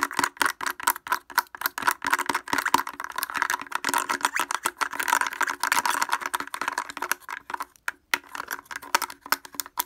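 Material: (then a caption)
Plastic. Fingers wearing wooden clothespins tap rapidly on the front of a blue plastic portable speaker with a hollow housing and grille. The result is a dense stream of sharp, dry, hollow clicks centered near 950 Hz, with bright upper edges, almost no low end and no ring. There is a brief pause just past the eight-second mark.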